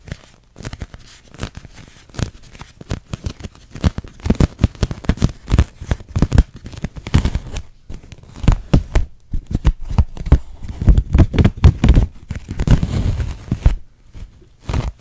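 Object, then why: Thin plastic dome. Long nails tap and scratch the surface of a large, hollow, transparent, thin pink plastic dome held in front of the face, making a crinkly plastic sound. Dense clusters of short, dry taps and scrapes come in uneven bursts with brief pauses, heaviest in the low range and with little high-end sparkle.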